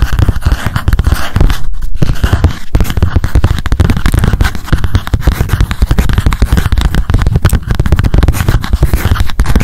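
A small pink spiral memo notebook, held upright, is tapped and scratched rapidly with long acrylic nails. The result is a dense, nearly continuous stream of fast, dull, low thumps with a faint scratchy texture, and almost no pause throughout.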